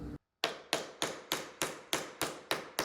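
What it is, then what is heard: Hollow-sounding wall. A spot on a lounge wall in a 1970s room being renovated is tapped nine times in a steady rhythm. Each tap is a short, sharp knock with a bright, slightly hollow tone and a brief decay. The wall sounds hollow at that spot.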